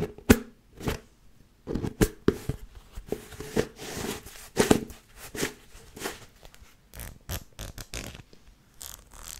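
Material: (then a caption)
Plastic. Long nails scratch along the ridged edge of the red plastic lid on a medium white plastic tub. The result is a series of short, dry rasping and clicking bursts with a bright, papery texture over a low body, each ending quickly with almost no ring.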